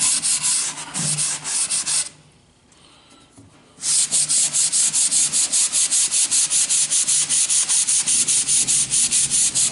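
A yellow sanding sponge is rubbed back and forth along a long, thin, solid wooden plank, making bright, hissy scraping strokes at a steady rhythm. The sanding stops for a brief near-silent pause around two seconds in, then resumes with quick, even back-and-forth strokes to the end.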